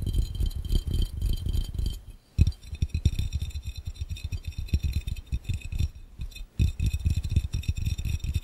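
Fingertips of both hands tap rapidly on a clear, round, hollow and empty glass fishbowl, making a dense stream of short, dull thumps with a deep low body and a faint bright glassy ring above. The tapping stops briefly just after two seconds and again around six seconds, then resumes at the same quick pace.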